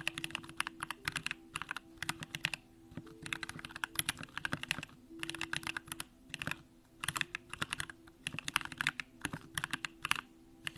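A compact Bakeneko65 mechanical keyboard with an aluminum case, Durock lavender switches and pink plastic keycaps is typed on continuously with the fingertips of both hands. Quick, bright, crisp clacks come in rapid bursts separated by short pauses, each keystroke dying away almost instantly over a faint steady low hum.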